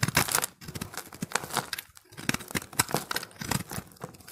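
A steel box-cutter blade repeatedly scrapes and carves flakes from a solid, hand-held recycled soap ball of multicolored pressed dry soap. Bright, crackly strokes that sound like tearing and crinkling come in quick bursts, with a brief pause near the middle.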